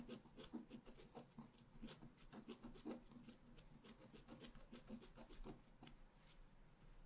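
A pointed wooden stylus scratches a flat, black-coated scratch-art paper card resting solidly on a table. Quiet, continuous rubbing and rasping strokes overlap in rapid succession, each with a soft low-mid body and faint bright streaks that die away almost instantly.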